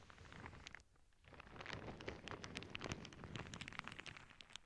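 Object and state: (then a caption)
Plastic bag of beads. A clear plastic zip bag full of small clear beads rests on a cork board while long nails scratch it and fingers squeeze it. The result is a dense, crinkly rustle with bright clicking ticks from the beads. It eases briefly near the one-second mark before building back up.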